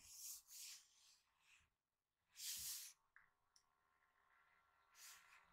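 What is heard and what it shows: Fingertips rub and brush across the glossy paper page of a hardcover recipe book lying open on a table, making soft, bright, airy swishes that swell and fade. Two light ticks follow in a quieter stretch, then one last gentle brush.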